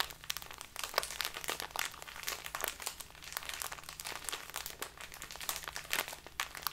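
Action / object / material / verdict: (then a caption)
shake / small plastic bag of loose tea / plastic / none. A small crinkly plastic bag filled with loose tea is held and crumpled between both hands with long nails. Dense, bright crinkling and crunching crackles keep on without a break, with sharp snaps rising over the steady rustle and a faint low hum underneath.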